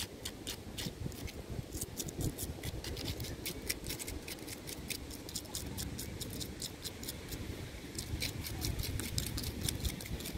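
Fingertips and short nails of one hand scratch and tap the thick, rough, furrowed bark of a large, solid, living tree trunk. Quick, bright, crisp scratching clicks come in a steady stream over a dense low rumble. The pace briefly thins just before 8 seconds, then picks up again.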